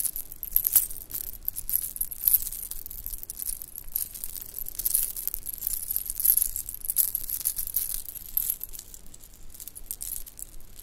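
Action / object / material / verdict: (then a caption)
shake / bracelet of shell chips, beads and metal spacers / shell / none. A bracelet of pink shell chips, white round beads and metal spacers is stretched and twisted in both hands, and long nails make the pieces clink and rattle. The result is a quiet, continuous stream of small, bright clicks and ticks with very short ring, dense and irregular throughout.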